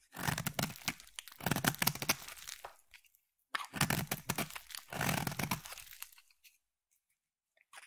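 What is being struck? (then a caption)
Solid bar of soap. A palm-sized, solid cream oval bar of soap is shaved with a utility blade and then a craft knife, peeling off soap curls. Two long bursts of dry, crunchy scraping with crisp, bright crackles are heard, separated by a short silence. A few faint ticks follow at the end.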